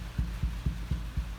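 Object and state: Nothing is struck.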